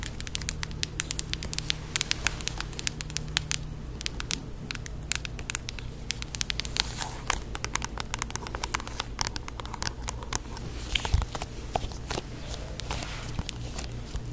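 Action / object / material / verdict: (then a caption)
tap / plastic Blu-ray case in a cardboard slipcover / plastic, cardboard / none. A hollow plastic Blu-ray case inside a glossy cardboard slipcover is held in the hands while long acrylic nails tap and scratch the cover. Dense, rapid, bright clicks and scratchy rustles run throughout over a low background hum.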